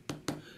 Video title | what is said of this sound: Sub- 5 Inch Smartphone Battle: Z3 Compact vs G3 S vs One Mini 2 | sounds like plastic feels like plastic let's be honest it pretty much looks like plastic